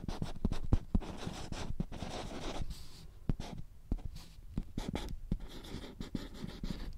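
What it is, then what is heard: Marker writing on a small whiteboard. A marker scratches and writes across the laminated surface of a small handheld whiteboard with a green plastic frame while the board is held in the hand. Soft, dry scratching strokes alternate with brief pauses, punctuated by sharp little taps and low thumps as the marker and hand press on the board.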